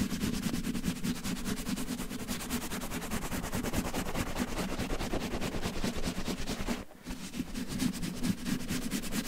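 Fingertips and short nails scratch and massage a red cotton terry towel draped over a microphone. A steady, fast, textured rustling and scratching goes on throughout, with a muffled low rumble under a broad hiss. The sound briefly drops out around the seven-second mark before resuming.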